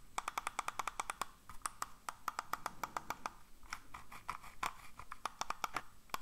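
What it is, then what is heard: Plastic computer mouse. A hollow black plastic computer mouse, held in one hand, is tapped and clicked with the fingers in quick, uneven bursts. Each hit is a sharp, dry click with a hollow, wood-block-like tone and bright upper edges, dying away almost instantly. A brief lull falls in the middle before the rapid tapping picks up again.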